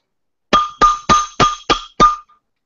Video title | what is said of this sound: Weekly Hangout Episode 20: Patrick Norton & The Munkys | sounds like metal doesn't it that's crazy